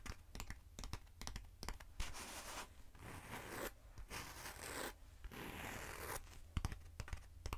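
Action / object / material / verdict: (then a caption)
scrape / hollow foam cylinder / foam / none. Long nails tap and scratch the surface of a short, hand-sized hollow black foam cylinder with an open center hole. Quick, sharp taps open and close the clip, with bursts of steady, bright scratching in between, all over a low, constant rumble.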